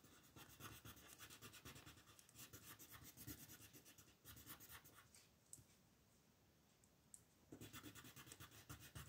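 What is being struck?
Colored pencil on a paper sheet.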